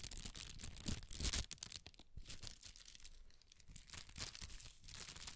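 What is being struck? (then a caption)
Sheet of tissue paper. A large sheet of red tissue paper, held by its corners, is waved and crinkled. It makes a steady stream of bright, papery crackles and rustles over a soft low rumble. The crinkling is loudest early on, around the first second and a half, then carries on more quietly in uneven bursts.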